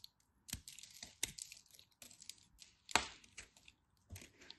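A knife tip carves a small, crumbly chunk of cream-colored dry soap held between the fingers, breaking it into crumbs. Irregular bursts of crisp, bright cracking and crumbling are heard, with sharp snaps and soft, gritty scraping in between.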